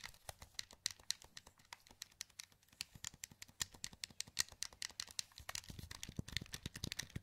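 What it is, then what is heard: Plastic game controller buttons clicking. Thumbs press the face buttons and d-pad of a wired black plastic PS2 controller with a hollow handheld shell, held in both hands. A quiet, rapid run of short, dry, bright plastic clicks and taps with almost no ring follows, unevenly spaced.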